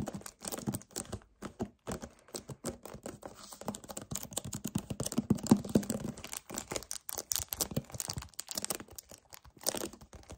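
A 1 L white paperboard vanilla kefir carton, hollow, is gripped, tapped and scratched with short painted nails and fingertips in a fast, varied stream. Dense clicks and crinkly scrapes with a dull low resonance near 207 Hz follow one another with almost no ring.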